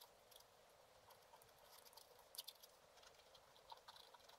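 A wooden stylus scratches short strokes across a black-coated scratch art card lying flat. The scraping is quiet, dry and bright, with crisp ticks and a few sharper clicks, and almost no low end.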